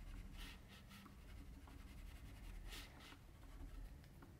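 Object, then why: Paper sheet scratched by a pencil. A metal mechanical pencil scratches shading strokes across flat white drawing paper lying on a table, with a left hand resting on the sheet. Soft, dry scratching strokes come in short bright bursts of hiss over a quiet, steady low rumble.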